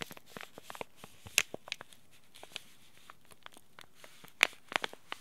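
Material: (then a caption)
Plastic foil. A small green laminated plastic-foil tea bag packet, held in both hands, is crinkled and rubbed with fingertips and short nails. Quiet, sparse, bright crackles and sharp ticks pop out of near silence, with two louder crinkles standing out. Each crackle stops instantly with no ring.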